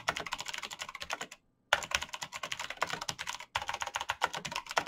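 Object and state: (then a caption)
Plastic mechanical keyboard. Bare fingertips type very fast on a black plastic mechanical keyboard with clicky switches, producing rapid, bright, dense clacks. The typing breaks off twice into brief silences before resuming in quick bursts.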